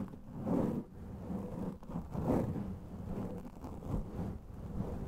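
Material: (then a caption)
Foam. A black foam microphone windscreen of soft porous foam is scratched and rubbed with fingertips and nails. The result is a muffled, low, rumbling rustle that swells and fades in a few soft surges, with almost no high or bright content.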